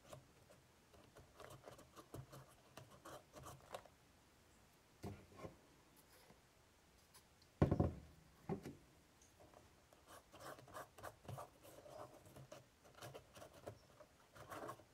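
A cotton swab scrapes and scratches along the crevices of a woven straw basket lid, making soft, patter-like scratching in scattered bursts. The sound stays quiet and dull, with one louder scrape near the middle and brief pauses between strokes.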